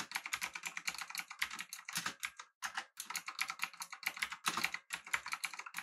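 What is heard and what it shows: Fingertips of both hands type steadily on a full-size, backlit, typewriter-style mechanical keyboard with an aluminum body and round plastic keycaps. Dense, bright, clicky taps follow one another quickly with very short decay, pausing briefly near the middle.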